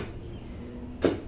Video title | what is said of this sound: ALAMIN bakit MAHAL ang SINGILAN sa mga ganitong TRABAHO | umalagutok pag binabarita